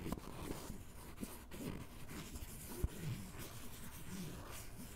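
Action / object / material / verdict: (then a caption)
scrape / canvas fabric fanny pack / canvas / none. The tip of a white ballpoint pen is scratched across the surface of a grey canvas fanny pack with black straps, soft and hollow, resting on a table. A quiet, continuous dull scratching and rubbing, mostly low in tone, is heard with two brief sharper ticks standing out.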